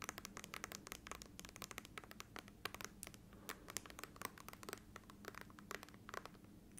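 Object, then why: Laptop glass screen. Long nails tap and scratch the glass display of an open laptop with its screen switched on. Quick, sharp, bright clicks and short scratchy strokes come in a rapid, irregular stream over a faint steady low hum.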